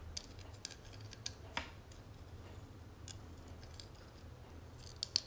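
Fingernails tap and scratch the dotted, textured inner surface of an open, hollow gold metal cigarette case. Sharp, bright metallic clicks stand out over a steady low rumble and soft scratching, with one louder tap near the middle and two more at the end.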